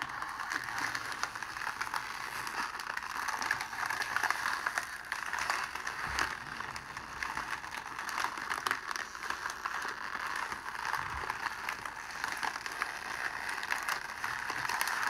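A loose sheet of clear cellophane wrap is held in both hands and crumpled and squeezed with the fingers. It makes a steady, dense stream of crinkling and crackling, bright and papery, with no low end and sharper little bursts scattered throughout.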